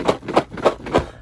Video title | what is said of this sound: Another SWEET Mail Day! Pokemon Sealed Product & More | you hear that kind of distinctive rattle noise that's the damage counters moving around